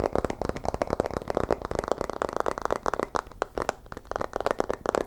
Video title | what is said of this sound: ASMR Fast & Aggressive BOOK Sounds | if I bend the book, the sound becomes much more solid.